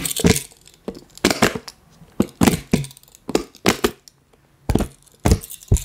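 Plastic toy puppet hands tap and scratch the ribbed rings of a hollow, pastel collapsible silicone water bottle held close. Short bursts of crackly, crinkling taps and scrapes come in quick clusters with brief pauses between them. Each burst has a soft low thump under a bright rustling crackle that dies away almost at once.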